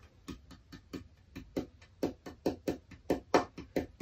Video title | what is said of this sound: People's Choice Build Part 1 | I can hear a bell tone in that. This is closer to the density, the lightness of this would be closer to a mahogany.